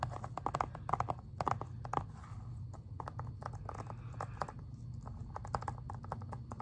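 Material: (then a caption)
Plastic. Fingernails tap and scratch the front cover of a plastic Xbox 360 game case, making quick, dry, sharp clicks in uneven bursts. Softer scratchy brushing fills the gaps over a steady low hum, and each tap dies away almost instantly.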